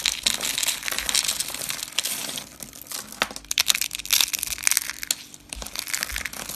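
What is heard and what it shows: Pink rolled curls of dry soap are picked up and crushed in the hand with the fingers. This gives a dense run of dry, bright crackling and crunching with almost no low end. Sharp snaps stand out through the middle and end of the clip.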